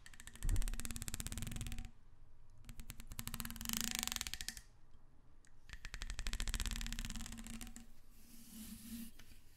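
Long red nails scratch and rub along the corrugations of a hollow, black, ribbed plastic vacuum-style hose. Rapid ratcheting clicks come in three bursts, separated by short pauses. Bright, crisp ridges ride over a soft, low rumble.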